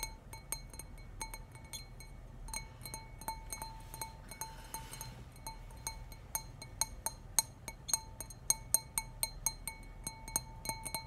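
A clear stemless glass wine tumbler, hollow and nearly empty with a little wine left, is held in both hands and tapped on its sides with fingernails. Quick, bright clinks come in an irregular stream, each leaving a faint, steady glassy ring over a low background hum, with a brief soft rustle midway. The taps grow sharper and more distinct in the second half.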